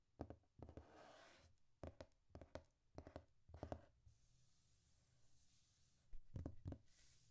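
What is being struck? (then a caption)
Glossy paper magazine pages. Fingertips and painted nails rub and scratch over the glossy paper pages of an open magazine, producing clusters of short, soft scratching bursts with brief lighter rubbing between them. The sound is quiet and mostly low-pitched, with a pause in the middle before a final burst.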